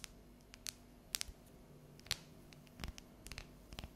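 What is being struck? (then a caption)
Dark chocolate bar. Long yellow nails tap and scratch across the ridged squares of a solid, unwrapped dark chocolate bar held tilted. About thirteen short, bright, dry clicks and scrapes stand out at irregular intervals over a quiet, low, steady background hum.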